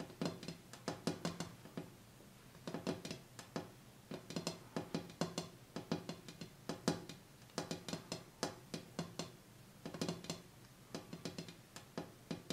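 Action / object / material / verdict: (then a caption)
tap / glass coffee table top / glass / none. Rapid taps on the bare glass tabletop of a coffee table, cleared of the items that were on it to hear whether the sound changes. Many short, clicky knocks come in quick clustered bursts with brief pauses between them. Each tap has a low body near 170 Hz and a bright, short-lived edge.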